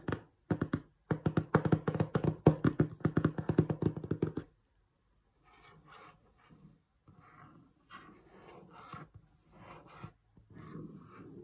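Fingertips and short nails tap rapidly on the front panel of a medium-sized, hollow, glossy printed cardboard box for LED string lights, with the lights apparently still inside, producing dull, low hollow thuds for about four seconds. The tapping then gives way to quieter, intermittent scratching and tracing across the surface.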